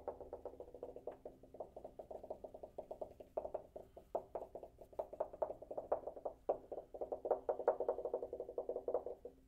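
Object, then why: Metal water heater tank. A water heater tank is tapped by hand in a quick, steady run of light taps. Each tap gives a short, hollow metallic knock with a mid-pitched ring around 490 Hz that dies away almost at once. The taps are soft and muffled, with little deep or bright tone.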